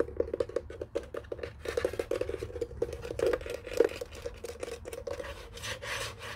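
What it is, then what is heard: Plastic desk telephone base. Fingertips and nails tap and scratch the underside of a white hollow plastic desk telephone base lying face down on a blanket. Rapid, dry taps with a hollow mid-pitched knock around 470 Hz are mixed with brighter scratching bursts, and each hit dies away almost at once.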